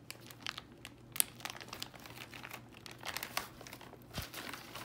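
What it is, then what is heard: Foil-lined plastic bag of sunflower seeds. Bare fingertips open a medium Spitz sunflower seed bag made of foil-lined plastic and full of seeds, then crinkle it and shake the seeds inside. Dense, bright, irregular crackles and crinkles are heard, with a few sharper snaps standing out over a faint steady low hum.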